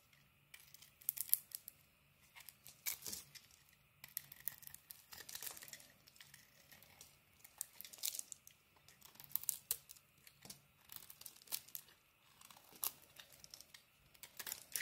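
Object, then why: Soap bar scraped with a blade. A utility knife scrapes thin cream-colored curls and shavings off a solid green bar of soap. Soft, bright, crisp scraping and crinkling strokes come in short bursts separated by brief quiet gaps, with almost no low-end body.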